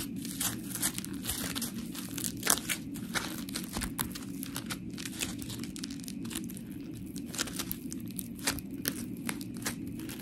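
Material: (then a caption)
Polymer foam. A palm-sized, round, white, textured polymer foam scrub sponge with smiley cut-outs, solid, is squished and scratched with long pink nails. Quick gritty scratches and crinkly, crunching bursts flicker up into the high range over a steady low, muffled rumble. The result is a dense, uneven crackle of scraping and squishing throughout.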